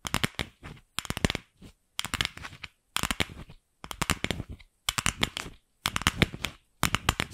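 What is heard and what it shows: A palm-sized hollow pink plastic ball, partly hidden behind the microphone at first, is tapped and scratched with long pink acrylic nails. Quick bursts of crisp, dry clicking and scratching come in clusters separated by brief silences. Each tap dies away almost instantly, with a bright edge over a light hollow body.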